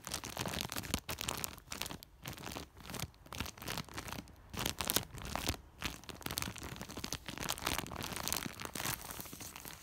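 Fingers scratch and rub a large white woven polypropylene plastic sack, then pinch and crinkle it. The sound is a dense run of bright, crackling rustles and quick crunchy bursts that swell and fade in short waves throughout the clip.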